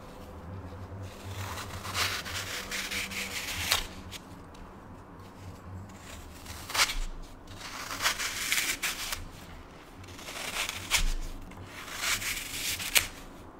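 A small, light, porous block of dry green floral (phenolic) foam is held in one hand while a metal knife blade in the other scrapes and cuts it, shaving and crumbling it, with more foam blocks on a pink plate below. The scraping comes in bright, gritty, rasping passages that swell and fade, each ending in sharp crunchy snaps. A faint low hum runs underneath throughout.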